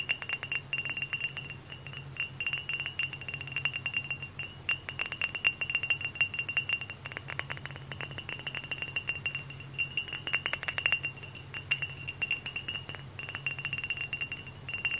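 Fingernails tap rapidly and continuously on a hollow, dark brown glass hard cider bottle with a paper label, held close to the mic. The taps are bright, sharp clicks with a high glassy ring around 2.8 kHz, over a faint steady low hum.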